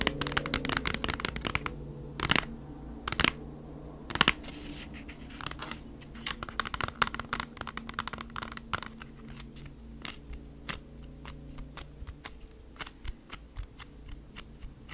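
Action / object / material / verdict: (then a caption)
tap / cardboard product package / cardboard / none. Long nails tap and scratch across the front of a flat kraft-cardboard product package as it is turned upright. Dry, bright clicks and scrapes come in quick, uneven bursts, with a few louder sharp taps early on. A faint, steady low hum runs underneath throughout.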